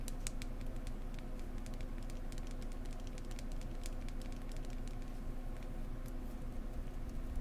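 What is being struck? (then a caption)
Polished wooden egg tapped with fingernails. A small, solid, dark-brown polished wooden egg is held in one hand and tapped with long painted nails close to the microphone. Quick, light, irregular taps make bright, crisp clicks over a steady low hum.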